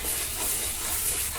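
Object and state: Nothing is struck.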